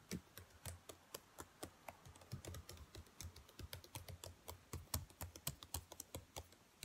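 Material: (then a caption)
Plastic. Long nails and fingertips tap and type quickly on the black plastic keys of a dark laptop keyboard. The result is a fast, uneven stream of short, crisp clicks, each with a bright tick over a soft low thump, dying away almost instantly.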